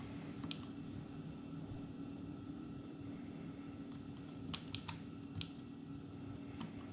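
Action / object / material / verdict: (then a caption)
tap / plastic keys of a small palmtop computer keyboard / plastic / none. Fingertips tap and press the grey plastic keys of an Atari Portfolio, a small dark grey plastic clamshell palmtop computer lying open on a wooden table. Sparse, short, bright key clicks come through, mostly bunched in the second half, over a steady low background hum.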